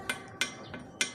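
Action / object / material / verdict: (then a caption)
knock / metal motorcycle exhaust muffler / metal / solid. Four knocks on a new aftermarket metal racing exhaust muffler, made in Purbalingga, for a Kawasaki Ninja 250SL, each a short, bright tap that dies away quickly. The muffler sounds solid and dense rather than thin and ringing, a sign of good build quality.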